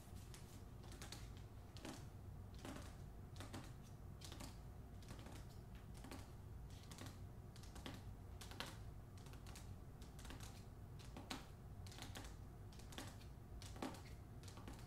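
Long fingernails tap rapidly on the glossy paper dust jacket over the front cover of the hardcover book "The Man Who Could Move Clouds." The quiet, steady taps sound light and clicky with bright edges and die away quickly over a constant low background rumble.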